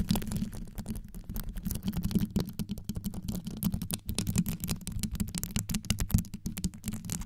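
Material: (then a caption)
Rhinestone. Long yellow nails wrap around a microphone with rows of rhinestones set around its grille and scratch it quickly. The result is a fast, dense stream of short scratchy clicks over a deep, muffled low rumble, with almost no ring after each contact.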